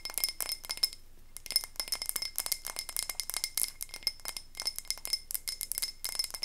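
A medium frosted glass candle tumbler filled with wax is held up and tapped rapidly with long nails, producing a dense run of bright, high clinking glass taps. Each tap rings only briefly, and the taps come in quick bursts separated by a short pause near the start.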